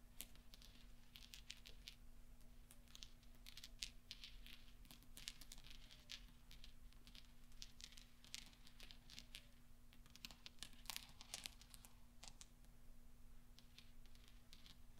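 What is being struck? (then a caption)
Small steel balls. Fingertips with long nails gather and roll small, solid steel pachinko balls on black velvet, producing soft, scattered bright metallic clinks and clicks. The clinks sit quietly over a steady low hum.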